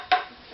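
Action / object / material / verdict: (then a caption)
tap / wooden violin scroll / wood / too low. A single tap on the wooden scroll of an Opus 15 violin, struck at its lowest central point, gives a short hollow knock with a ringing tone near 730 Hz that fades within a fraction of a second. The scroll's tap tone sounds too low against its target of 161 on a wood reference tap tone tool, so it is to be filed to raise the frequency.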